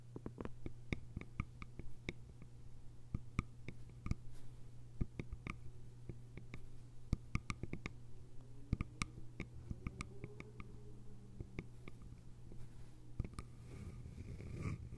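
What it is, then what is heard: Bamboo lidded container. Long nails tap and scratch the sides of a small, hollow, cylindrical bamboo container with a lid. The result is a quiet run of many short, crisp clicks with bright upper edges and almost no ring. Soft scratching runs between them over a steady low hum.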